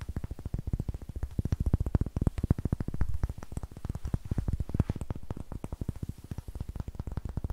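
A solid light wooden cube, held in both hands and turned to show its darker brown and rough green faces, is tapped and scratched with long nails. A rapid, steady stream of short, dull knocks sits low and muted around 90 Hz, each dying away almost at once, with faint scratchy texture between them and no bright high ring.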